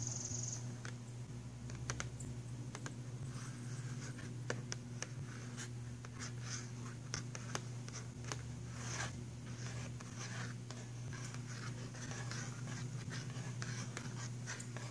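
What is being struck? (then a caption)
Cardboard box of pencils. Fingernails tap and scratch the cover of a filled, printed cardboard box of pastel pencils. Soft, dry scratching mixes with quick, sharp little taps over a steady low hum.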